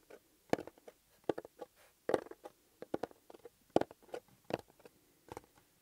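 Fingertips and nails tap and scratch the surface of a small, flat, closed, hollow blue paper-covered EMTEC cardboard box held in one hand. The result is a quiet, irregular series of short, dry taps and brief scratchy rustles, with a hollow midrange knock and no ring.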